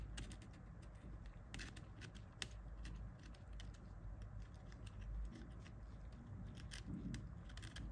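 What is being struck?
Plastic mobile phone keypad and casing.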